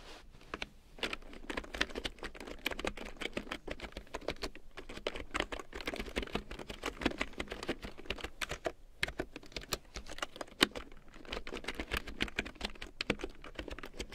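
A black plastic large-print computer keyboard with yellow keycaps is typed on with long nails and fingertips. It gives a steady, dense stream of quick, dry clicks and taps with sharp bright edges, and each keystroke dies away almost instantly over a faint low hum.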